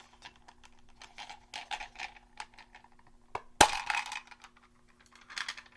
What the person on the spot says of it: This one has little pearls in it.